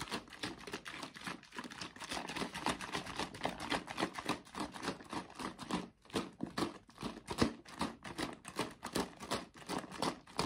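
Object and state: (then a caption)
Paperboard drink carton with liquid inside. A tall yellow laminated paperboard carton filled with liquid is held and shaken by hand. It makes a rapid, steady series of sloshing thumps and papery rustles. The short, dry bursts carry on without pause for the whole clip.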